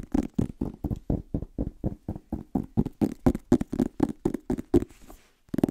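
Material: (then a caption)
Paper. Fingertips and short nails tap and scratch the back cover and spine of a medium-sized paperback book with a yellow-orange paper cover, held upright near the mic. A quick, slightly uneven run of dull, soft thuds with a low-mid body and almost no ring. Near the end it briefly becomes a faint, bright scratchy brushing before the tapping returns.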